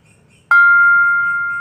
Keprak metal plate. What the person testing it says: kalau suaranya nyaring seperti ini kemudian ini diberi tanda baru di lubang ini